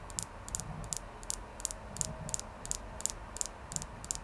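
A clear quartz crystal is tapped repeatedly, giving quick, light, bright clicks that stop dead with no ring. The taps come in uneven pairs and small clusters over a faint low hum.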